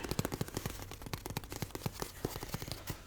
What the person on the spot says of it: I really love the sound of tapping on like hollow things like cardboard.